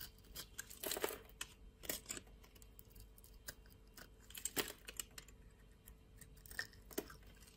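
A metal utility knife blade shaves a solid orange bar of soap held in the hand, peeling off thin curls as it cuts. Quiet, crisp scraping and crackling bursts come in uneven clusters, each dry and bright with almost no ring. A faint steady tone sits underneath.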